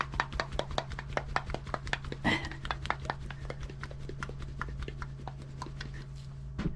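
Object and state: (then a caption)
Spray foam can shaken to mix liquid contents. A can of spray foam insulation is shaken rapidly before use, mixing the liquid contents inside. About 34 short, sharp clacks and rattles repeat quickly over a steady low hum.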